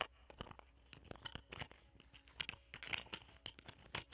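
A round, palm-sized, solid cluster of purple amethyst points ringed by clear quartz points, resting on green satin, is scratched and tapped with a small metal spatula tool with a wooden handle that has a small microphone attached. Quiet, bright, dry crunchy scratches and sharp clicks come in a quick, uneven series, each dying away almost instantly.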